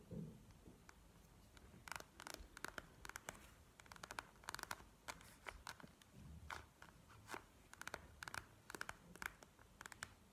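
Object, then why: Plastic gel-bead eye mask. Long nails scratch and tap on a plastic gel-bead eye mask lying flat on a table. A steady run of sharp, dry clicks and bright, crackly scrapes rises and falls in quick bursts over a faint low hum. Each tap stops at once, with no ring.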